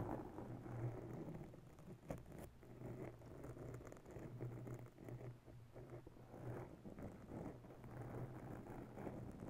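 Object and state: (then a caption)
Foam microphone windscreen being scratched. Bare long natural nails of both hands slowly scratch a soft, porous round grey foam cover on a microphone. The result is a steady, muffled, low rumbling rustle with crackling textures and a faint low hum, with no high frequencies.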